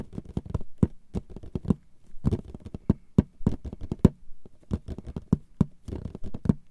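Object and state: Cardboard box lid.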